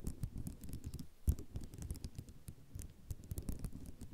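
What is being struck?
Ceramic mosaic tile sheet.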